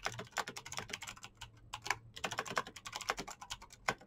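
Fingertips type fast on the keycaps of a black plastic mechanical keyboard with clicky green switches. A rapid, uneven stream of sharp, bright clicks sounds with very short decay and little low end, with a few louder key strikes standing out.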